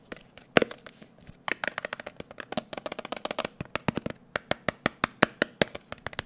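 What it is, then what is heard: Metal cream tin. A closed, round blue metal Nivea cream tin is held in the hand and tapped quickly with the fingertips. It gives a rapid series of short, dry, clicky taps with a bright edge and almost no ring, centered around 480 Hz. After a brief pause near the first second, the tapping picks up into a steady, fast rhythm.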